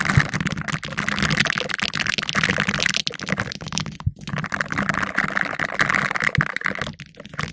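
Two green silicone finger brushes worn on the fingertips scratch and rub the round, hollow black metal mesh grille of a condenser microphone. The result is a dense, steady, bright crackling scratch with soft low thumps. It breaks off briefly near the four-second mark and again near the end.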